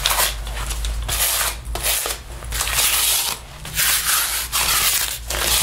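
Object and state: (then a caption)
Faux leather jacket. A sticky paper lint roller is rolled across the chest and down the sleeve of a black faux leather jacket being worn. Repeated bright rolling and rubbing strokes carry a crackle from the adhesive pulling off the synthetic leather, with brief quieter gaps between passes.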